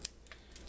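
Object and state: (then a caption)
Crispy, fully baked flatbread pizza crust. A freshly baked flatbread pizza crust, just out of the oven, is handled with a gloved hand and gives four quick, dry, bright crackling clicks. The sharp crunches fade almost instantly, showing the crust is cooked, crispy and done.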